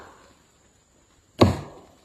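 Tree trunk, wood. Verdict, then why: Dull. A single knock on a tree trunk gives a short, dull, low thud with a brief wooden ring. This spot sounds weaker and less loud than the previous spot on the trunk.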